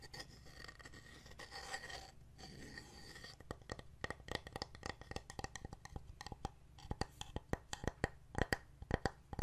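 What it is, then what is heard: Wooden heart decoration. A hand-sized, solid, painted wooden heart plaque with a fabric insert and wooden buttons is held in one hand while fingernails tap and scratch across the wood and buttons. Soft, brushy scratching fills the first few seconds, then gives way to many short, dry, clicky taps that grow sharper and louder toward the end. A low steady hum runs underneath throughout.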